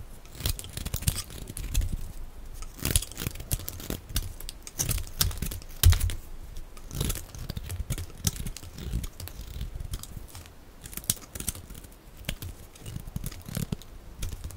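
A solid oval bar of dry green soap, held in the hand, is shaved with a metal blade, and thick green curls fall onto piles of soap shavings. A fast stream of short, crisp scraping and crackling strokes is heard, each with a bright edge over a low, dull thump, dying away almost instantly and following one another at an uneven pace.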